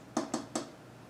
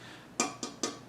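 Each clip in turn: First: plastic PC case front panel. Second: tempered glass side panel of a PC case.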